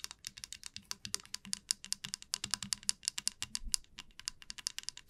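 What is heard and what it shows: Long nails tap and strum the teeth of a flat, light wooden wide-tooth comb lying on a felt mat. About 39 quick, dry, bright clicks sound in a steady, uneven patter, each dying away at once. The tapping stays quiet throughout, with almost no low sound.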